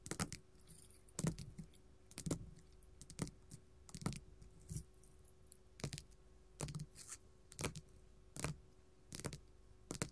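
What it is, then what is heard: Glitter faux leather sheet tapped with metal claws. Gold metal filigree claws tap on a flat pink glitter faux leather sheet lying on a table. The taps are short, dry, bright clicks in an uneven rhythm, separated by a faint steady hiss, and each dies away almost at once.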